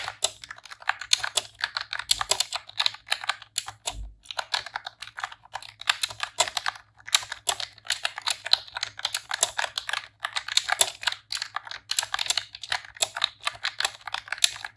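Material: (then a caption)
Plastic. Long press-on nails and fingertips type in rapid key presses on a pink retro-style plastic computer keyboard with round keycaps. The result is a steady stream of bright, sharp plastic clicks and clacks with a very short decay. The typing continues with only brief pauses.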